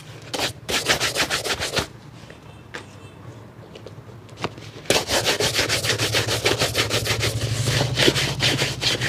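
A hollow, empty leather shoe with a rubber lug sole, held at the lap, is brushed with a light wooden-backed bristle brush. Quick, scratchy back-and-forth bristle strokes come in a bright, hissy burst, fall to a quiet pause, then resume in a steady run of fast rubbing strokes until the end.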